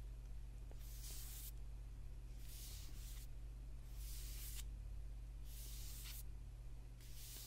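Fingertips and short nails scratch and tap the dark paper cover of a thick paperback book with a solid block of pages, lying partly on a table. Soft, bright, hissy scratching strokes come in repeated bursts over a steady low hum.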